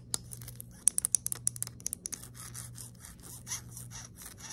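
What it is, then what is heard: Aluminium knurled flashlight, scratched and tapped. Long nails tap and scratch the knurled grip of a small anodized aluminium flashlight, a hollow tube lying on a table. A quick run of sharp, bright metallic ticks with almost no ring comes first, then softer, hissy scratching over the ridged metal, all faint and mostly high-pitched.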